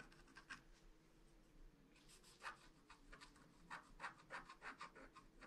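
A wooden stylus scratches the black wax coating off a flat black-coated paper scratch art card, tracing a rainbow and star outline. Quiet, irregular scratchy strokes come in short bright rasps, growing quicker and more frequent toward the end over a faint steady low hum.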